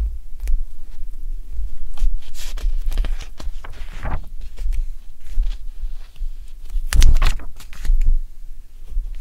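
Fingertips with nails hold, rub and flip the glossy paper pages of an open Elle fashion magazine, the UK July/August 2023 issue, a thick solid stack lying on an orange towel. Crisp, bright rustles and swishes of turning pages rise over a steady low rumble.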